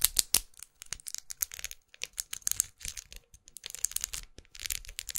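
A closed small red plastic lipstick tube with a faceted, studded surface and a dark band, held in one hand, is tapped and scratched with long acrylic nails. It gives quick, dry, bright clicks and scratchy rasps in irregular bursts, each sound stopping almost at once with no ring.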